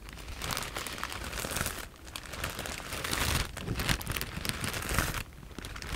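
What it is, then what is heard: Plastic bag of foam cushioning pieces. A clear plastic E-PACK bag full of white foam cushioning pieces is held in both hands and scratched and tapped with long nails. The result is a steady, dense crinkling and crunching with bright, crackly rustle over a low rumble, easing briefly in a few short pauses before picking back up.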